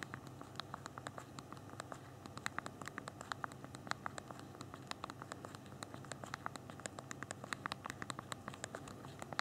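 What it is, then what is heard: Phone plastic keyboard being typed on. Thumbs rapidly tap the small plastic keys of a handheld BlackBerry phone's physical keyboard while typing. A steady stream of short, sharp, bright clicks rises over a faint low background hum, and each click stops almost instantly.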